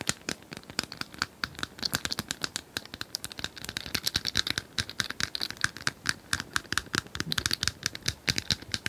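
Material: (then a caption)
Plastic. Long nails rapidly tap and scratch the tiles of a hand-sized, multicolored plastic tiled cylinder puzzle toy held upright. The result is a dense stream of sharp, bright plastic clicks and scrapes that stop instantly, with almost no low end.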